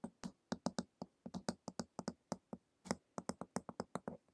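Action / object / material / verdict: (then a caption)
tap / hardcover book with glossy cover / cardboard / none. Long acrylic nails tap quickly on the glossy printed cover of a flat, solid hardcover book lying on a table. About two dozen short, dry clicks with a low thud near 220 Hz and a bright crisp edge, each dying away almost instantly, fall in a fast, uneven rhythm with brief pauses.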